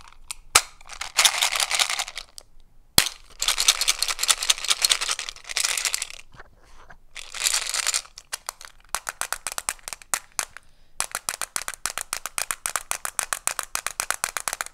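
Fingertips and short nails handle a small, hollow, rectangular plastic FRISK neo mint case with mints inside, shaking and tilting it so the mints rattle and flipping its lid. Bright, dense bursts of rattling alternate with sharp clicks. The clip ends in a steady run of quick, crisp ticks.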